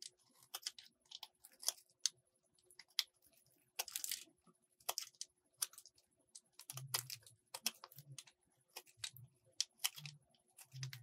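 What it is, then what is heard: Soap bar being carved. A metal box-cutter blade carves a solid purple soap bar in a series of scraping cuts. The quiet, crisp bursts are bright and dry with almost no ring, and soft low thumps join in during the second half.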